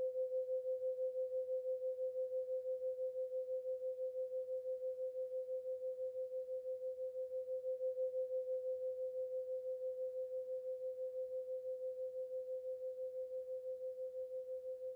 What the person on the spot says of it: Just listen how long it rings for.